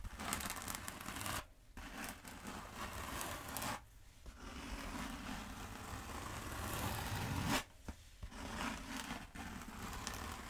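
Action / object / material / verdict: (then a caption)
scrape / foam exercise roller / foam / none. Long acrylic nails scratch and tap along the textured surface of a long black exercise-style foam roller held upright. The result is a steady, dense, bright scraping rasp over a low rumble, broken by brief quiet pauses near 1.5, 4 and 8 seconds.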